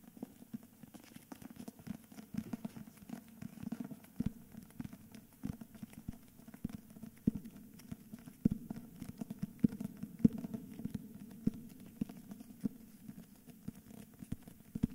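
Fingertips and nails tap and scratch the cover and spine of a solid cream hardcover book with a paper dust jacket, held in both hands. Quick, soft, dry taps with a low-mid body and almost no ring come in an irregular, steady patter over a faint continuous scratching rustle.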